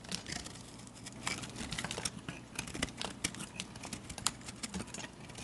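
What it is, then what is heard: Bar soap being carved. A metal blade carves into the corners of a solid multicolored chunk bar of soap and scrapes off pieces. The result is a steady run of bright, crisp scraping and crackling with many quick, dry clicks. Each one stops short with almost no ring.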